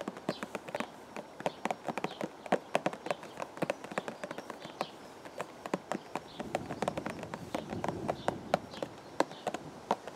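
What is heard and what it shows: Fingertips of both hands tap quickly and irregularly on a hollow, purple and white printed cardboard teacake box held against the chest outdoors. The taps are dozens of short, dull, hollow knocks centered around 600 Hz that stop almost instantly. About two-thirds of the way through, a soft low rushing noise rises underneath the tapping.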